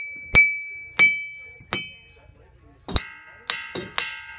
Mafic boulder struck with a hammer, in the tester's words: this one is especially High